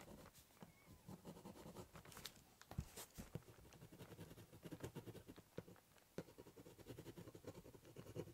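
A ballpoint pen doodles and scribbles across the top of a large corrugated cardboard box. Quick, uneven scratching strokes overlap with sharp little ticks, over a hollow, low resonance from the cardboard.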